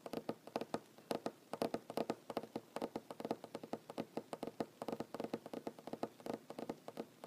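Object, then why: Wooden tabletop. Short fingernails drum fast taps across a solid wooden tabletop, about 48 quick, dry knocks in a busy, uneven rhythm. Each tap is a short, woody click centred in the low mids around 227 Hz with a bright edge, dying out almost instantly.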